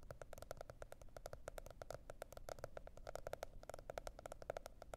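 A teal spiral-bound cardboard hardcover notebook is tapped and scratched with long red nails. Quick, dense, dry taps with a hollow mid-pitched knock and bright clicky edges patter steadily over a faint low rumble, each one dying away at once.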